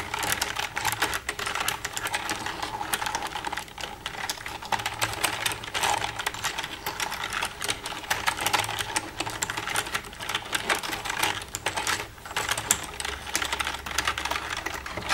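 Long red nails tap rapidly and continuously on the keys of a black plastic computer keyboard for about fifteen seconds. The result is a dense stream of light, bright plastic clicks with short, dry decays and almost no low end.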